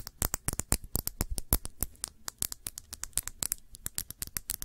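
Long nails tap and scratch the glass body of a round glass perfume bottle with a blue cap, partly filled with blue liquid. About thirty quick, dry, bright clicks come in an uneven, rapid patter, with faint scraping between them and almost no ring after each hit.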